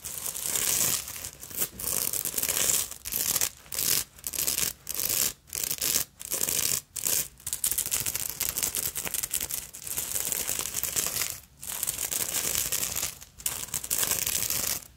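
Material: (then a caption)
Glass beads. A small black beaded fabric evening purse with a dangling bead fringe is scratched and rubbed by a hand with long nails across the beaded surface and fringe. Bursts of bright, dense, crackling and rasping scratches come in quick strokes with brief silent gaps between them, almost no low end.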